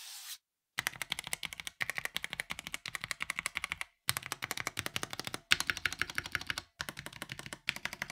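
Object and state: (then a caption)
Plastic mechanical keyboard being typed on. Fingertips type with both hands on an NYK Nemesis Daemon 65% mechanical keyboard with a black plastic case and ABS keycaps, modded with tape. A brief hiss opens the clip, then rapid, bright, clacky keystrokes come in fast bursts separated by short pauses. Each key hit is sharp and dry, with almost no ring and little low end.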